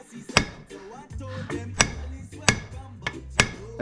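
Five sharp metallic pings sound as a steel ball bearing, fully seated in the aluminum crankcase of a 2016 YZ 125 engine, is tapped at its corners, with a low murmur of talk between the taps. Each tap gives a short, bright ring that confirms the bearing is fully seated.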